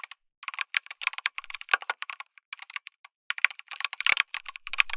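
Fingertips type continuously on a backlit mechanical keyboard with plastic keycaps, an FR4 plate and tactile switches. The result is a steady stream of short, sharp, clacky keystrokes in irregular bursts with brief pauses. The keystrokes are bright and high with almost no low end, and each click dies away instantly.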